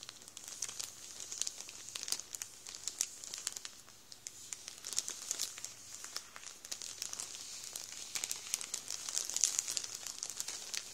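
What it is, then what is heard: Plastic bread roll bag crinkled by hand. An open hand rubs and presses the fingertips into a full Warburtons plastic bread roll bag, crinkling the plastic. The crackles are bright and dense, with many quick snaps that overlap too closely to count over a steady hiss of crinkling. The level swells slightly toward the end.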